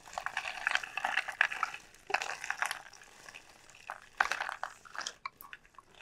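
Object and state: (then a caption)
Dried gourd shell. Long painted nails tap and scratch the hard, hollow shell of a large, elongated dried gourd sold as a pumpkin, lying on a felt mat. Quick, dry clicks and raspy scratches come in dense, bright bursts with almost no low end, separated by brief quiet gaps.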